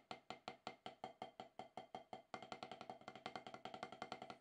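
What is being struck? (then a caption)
Rubber-topped drum practice pad struck with wooden sticks. Wooden drumsticks alternate taps on a solid octagonal HQ rubber-top snare practice pad, played as practice to knock off more than ten years of rust. There are 32 short, dry, woody clicks with a mid-pitched knock and a bright edge. They start at a steady, moderate pace, then speed up and grow slightly uneven after about two seconds.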